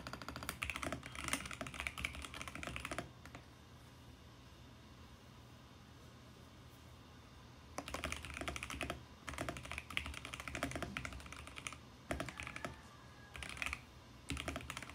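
Fingertips type on a VGN X68 compact mechanical keyboard with plastic keycaps on a mint case, making rapid, bright, clicky keystrokes with a low thock underneath. A burst of typing runs for about three seconds, then about five seconds of quiet background before typing resumes in several fast bursts with brief pauses through the end.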